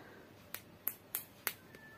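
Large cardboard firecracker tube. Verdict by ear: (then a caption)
Solid. Six short, sharp knocks on the lower part of a jumbo Elco firecracker tube, checking whether it is fully packed or partly filled with filler. Each tap is a dry, bright click that dies away almost instantly, and the tube sounds dense and solid.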